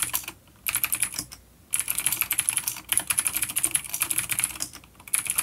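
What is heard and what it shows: A full-size dark plastic vintage mechanical keyboard with clicky blue switches and grey keycaps, resting on a wooden desk, is typed on with the fingertips of both hands. Bursts of fast, bright, crisp clicks run in quick flurries, broken by brief pauses, with almost no low end.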